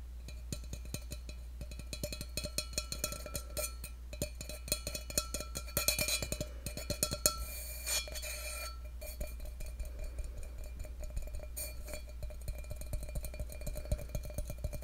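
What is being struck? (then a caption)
Stainless steel tumbler. Fingertips and nails tap quickly and irregularly on the side of a hollow stainless steel tumbler held close to the microphone. Each tap gives a short, bright metallic tick with a faint ring around 600 Hz. A steady low hum runs underneath throughout.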